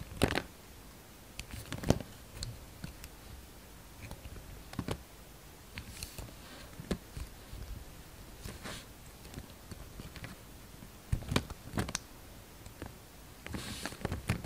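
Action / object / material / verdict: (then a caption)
scrape / glycerin soap bar cut with a knife blade / glycerin soap / none. A solid red translucent glycerin soap bar held in the hand is shaved into long strips with a utility knife blade, the shavings piling up in the hand. Quiet, irregular cutting and scraping strokes are heard, with occasional sharp, crisp snaps and soft crunches over a low, muffled background.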